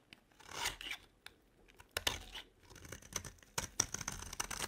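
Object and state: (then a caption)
Dry bar soap. A metal blade scrapes and carves crumbly shavings off a dry, solid yellow bar of soap with a blue edge, held in the hand. Bright, crisp scraping strokes and sharp short scratches come through in bursts, with little low end and quiet gaps between cuts.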